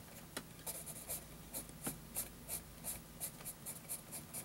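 A pencil tip scratches fine hatching lines near an elephant's legs on a flat sheet of graph paper resting on a desk. Quick, irregular bright scratchy strokes repeat at a brisk pace, each short and dry, over a faint steady low hum. The overall level is quiet.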